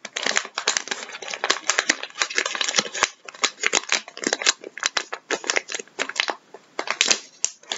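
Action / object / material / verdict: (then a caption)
scrape / flexible plastic bag of vinyl gloves / plastic / none. Bare fingertips and nails squeeze and crinkle a flexible plastic resealable bag of vinyl gloves, partly full and held upright. The result is a steady run of dry, bright crinkles and sharp crackling snaps with no low end, each burst dying away almost instantly between brief quiet gaps.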